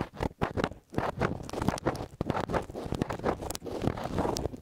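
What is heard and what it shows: Fingertips and short nails scratch and press directly on small silver metal stereo microphone capsules set on a white stand. The result is a dense run of close, rough scratching and muffled thumping bursts with a deep, boomy low end and little high content, each burst dying away almost instantly.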